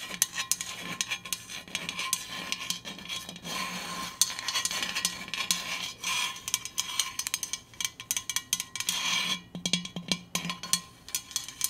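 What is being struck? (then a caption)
Stainless steel insulated water bottle. A Hydro Flask stainless steel insulated water bottle is tapped and scratched with rapid, irregular strokes. The result is bright, metallic, clinky taps that ring only briefly, mixed with scratchy rasping, over a faint steady tone.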